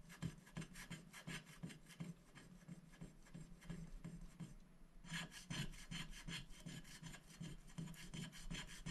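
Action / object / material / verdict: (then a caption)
scrape / black-coated scratch-art paper scraped with a wooden stick / coated paper / none. A wooden stick scratches the black coating off a thin, flat paper scratch-art sticker sheet lying on a glass board, working in short strokes. A dry, raspy scratching repeats at a quick, uneven pace of roughly three strokes a second. The strokes soften briefly just before the 5-second mark, then return brighter and crisper.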